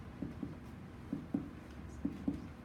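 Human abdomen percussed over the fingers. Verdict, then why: Hollow. Fingers tap over the abdomen in percussion, producing six short, hollow, low-pitched thumps around 285 Hz, with quick decay, spaced in pairs. The tone is tympanic, a normal hollow-sounding abdomen.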